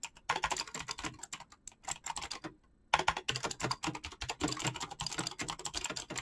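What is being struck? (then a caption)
Mechanical keyboard with PBT plastic keycaps. Fast fingertip typing on a black mechanical keyboard with clicky switches and PBT plastic keycaps makes a rapid stream of sharp, bright clicks with a light low thud beneath each keystroke. The clatter stops for a brief pause just before the three-second mark, then resumes at a steady, quick pace.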